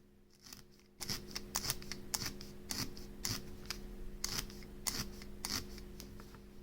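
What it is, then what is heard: Loosely felted wool. A felting needle is stabbed repeatedly into a loose, not-yet-firmed part of a needle-felted wool piece, making soft, scratchy, crunching pokes. The sound is the one a loosely felted section gives, as opposed to a firmly felted one.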